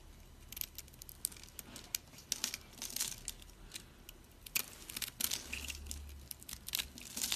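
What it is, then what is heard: Dry soap bar. A utility knife blade scrapes and cuts into a solid, hand-sized dry green soap bar, pre-scored into cubes and held in the hand. Dense, bright, crisp crunches and crackles come in quick, irregular bursts as the crunchy soap cubes break off, each snap dying away almost instantly over a faint low rumble.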